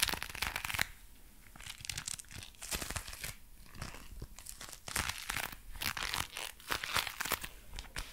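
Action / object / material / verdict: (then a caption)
scrape / leather gloves / leather / none. Dark brown leather gloves worn on both hands are flexed with clawed fingers as the glove leather is rubbed and stretched. The result is a steady run of dry, bright creaks and crinkly rubbing bursts, close and quiet, with short spikes louder than the rest.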